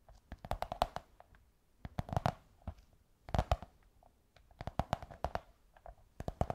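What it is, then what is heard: Cardboard tube tapped with fingernails. Long white fingernails tap and scratch a curved beige kraft cardboard tube. Quick, dull, hollow taps come in three bursts separated by short pauses, each tap dying away almost at once, with faint scratching between them.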